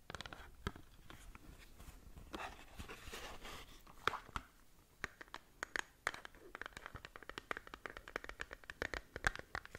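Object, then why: Small cardboard cosmetic box. Long nails scratch a small cardboard skincare box, held partly behind a hand. The result is quiet, dry scratching with a brushy rasp early on, then a busy run of sharp, crisp clicks and ticks that stop dead with no ring.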